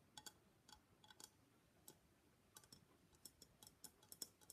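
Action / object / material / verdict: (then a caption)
tap / papier-mâché face mask / papier-mâché / none. Long black nails tap along the rim and sides of a hollow gold-and-black Venetian face mask, likely papier-mâché. The result is an irregular series of quiet, quick, dry clicks with a bright, high tone, little low end and almost no ring.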